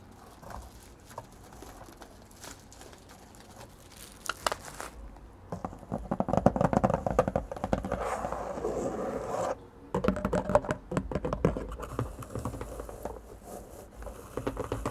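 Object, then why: Corrugated cardboard box. Long painted nails scratch and tap along the flap edges of an open, empty, medium-size corrugated cardboard shipping box. Quiet, sparse scratching for the first five seconds builds into dense, rapid, uneven scratching and tapping with a hollow cardboard tone. It stops briefly near the 9.5-second mark, then resumes.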